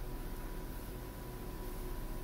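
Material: Nothing is struck.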